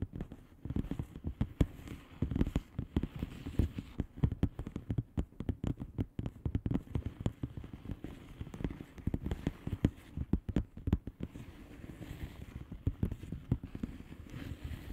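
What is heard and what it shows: Long polished fingernails of both hands tap quickly on a flat blue plastic bubble wrap padded envelope with air-filled bubbles. The result is a dense, uneven patter of short, dull, muffled clicks with little ring, weighted toward the low end and running steadily throughout.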